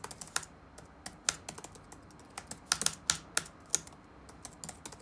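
Fingertips type rapid taps on the black plastic keys of an open laptop resting on a wooden desk. About seventeen short, bright clicks land in quick, irregular bursts, some louder than others. Each click dies away almost instantly, with very little low end.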